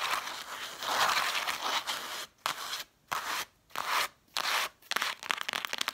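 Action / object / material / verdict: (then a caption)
scrape / stack of cloth-bound hardcover books / cloth / none. Long nails scratch fast across the red cloth spines with gold lettering on a stack of cloth-bound hardcover books. A dry, bright rasping runs steadily at first, then breaks into short scratching bursts separated by near-silent pauses, and ends in quick, crackly ticks.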